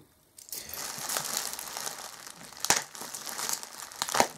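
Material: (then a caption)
Plastic. A bundle of clear plastic bubble wrap wrapped around an item rests on a black Alienware M11x gaming laptop while bare hands grip and crinkle it and a small tool or scissors cuts and pulls at it. After a brief silence, a steady, bright crinkling rustle begins, broken by two sharper, louder crackling snaps near the middle and end.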